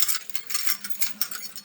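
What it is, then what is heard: Set of metal keys (shaken). A set of metal keys, used for opening home and car doors, is shaken. Quick, bright metallic jingles come in clustered bursts with short rings and almost no low end.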